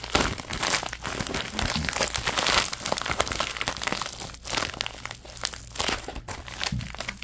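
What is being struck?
Thin plastic bag.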